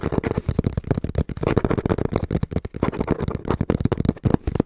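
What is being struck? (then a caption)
Cardboard box. Fingertips tap quickly and steadily on the front panel of a small, brown, hollow cardboard box held in both hands. The result is a rapid run of dull, low, hollow thumps centered around 250 Hz, each one dying away at once with almost no bright edge.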